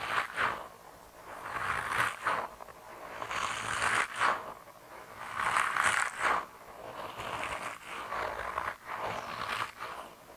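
A hand-sized grey soft rubber mouse toy, solid and flexible, is squeezed and bent with thumbs and fingertips. About six rubbery, creaking, scraping squeaks rise and fade at an uneven pace. They are centered in the midrange with some bright edges and almost no low end.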